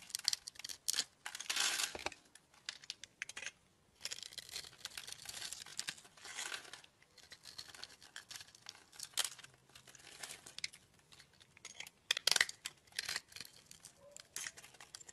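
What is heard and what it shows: A solid oval bar of translucent light-blue soap, scored in a grid pattern and held in the palm, is cut into cubes with a metal utility blade that has a green handle. The clip is made of bright, dry scraping and crunching bursts with crisp snapping transients and no low end.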